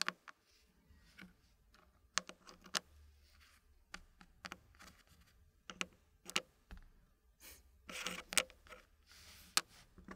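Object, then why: Wooden puzzle pieces and wooden tray. Fingertips push and slide small, solid dark-brown wooden puzzle pieces into a green-painted wooden frame, the pieces tapping and scraping against the tray and each other. About fifteen quiet, sharp, bright clicks and taps die away almost instantly, scattered across the clip. Soft, hissy scraping runs between them, with a longer scrape near the end.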